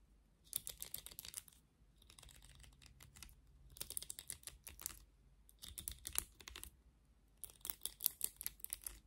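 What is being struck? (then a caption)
Plastic vented hairbrush with bristle pins. Long nails scratch through the bristle pins of a black plastic vented hairbrush with some hair caught in the bristles. The result is rapid, bright, dry clicking and ticking that comes in short bursts separated by brief pauses, with one softer passage. The clicks stop sharply with no ring.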